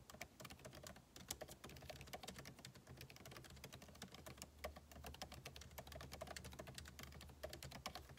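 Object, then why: Laptop keyboard with plastic keys in a metal body. Fingertips type rapidly on a backlit MacBook Pro keyboard with plastic keycaps set in an aluminum body. A dense, quiet stream of short, bright key clicks with very quick decay plays over a steady low hum.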